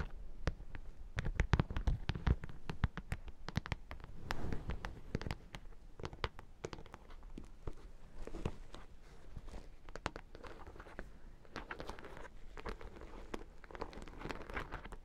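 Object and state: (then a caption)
Studded faux leather bag. Long black nails scratch and tap across the metal studs of a hollow, studded faux leather lip bag. The result is a quiet, steady stream of sharp clicks and scraping, with a low hollow thump beneath many of the taps and brief bright ticks that die away almost at once.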